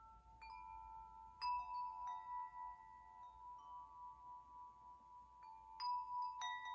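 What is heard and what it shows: A hollow metal tube wind chime, held up by its string, is brushed and tapped with an open hand. Clear, bell-like metallic tones ring out around 1 kHz with bright overtones. The tones overlap and sustain between a few louder strikes near the start and end, over a quiet background.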